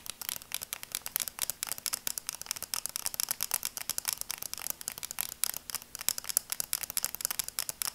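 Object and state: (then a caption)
Plastic sunglasses tapped with nails. Long nails tap the lenses and frame of red and black plastic sunglasses in a rapid, continuous run of crisp, bright clicks with almost no low end. Each tap is very short and dies out at once, with quiet gaps between them.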